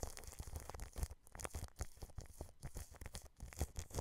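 A paintbrush scratches and brushes from the side across clear cling film wrapped over a microphone grille. The result is a steady run of quick, crinkly brushing strokes with a heavy low-end thump and short, dry scratchy bursts.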